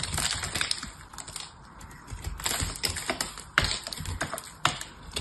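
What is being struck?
Soap bar.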